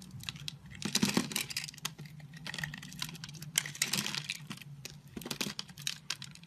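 A utility knife blade scores a grid into an oval, multicolored blue, pink and yellow solid soap bar held in hand, then shaves it so small cubes crumble off. The result is a run of crisp, bright scraping and crackling bursts over a faint steady low hum, with louder clusters of cutting separated by quieter passages.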